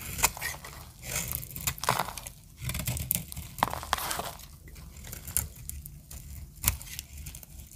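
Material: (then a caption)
Soap. A metal utility blade carves a solid green dry soap bar, producing a run of dry, crunchy scraping and crackling as the shavings break off. Each cut has a bright, crisp edge over a soft low rumble, with sharp snaps standing out between quieter scrapes.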